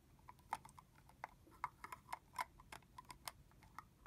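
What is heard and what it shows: Long fingernails tap and click on the hollow plastic cap end of a red translucent plastic body-mist bottle filled with liquid. The result is a quiet, irregular run of short, crisp clicks with a mid-high tone near 900 Hz, bright edges and almost no ring or low end.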